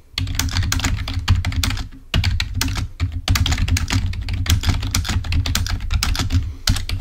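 Both hands tap away at a full-size black plastic Microsoft keyboard with its cable attached, resting on a table, fingertips striking the keys. It makes a rapid stream of crisp, bright plastic clicks over a steady low hum, broken by brief pauses near two, three and six and a half seconds.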